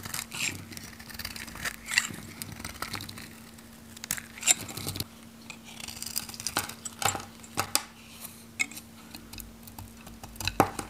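A metal knife shaves and cuts thin flakes from a solid, handheld, pink, varnished, dry Godrej No.1 soap bar. Crisp, bright scraping and crackling strokes come in short, irregular bursts over a faint, steady low hum.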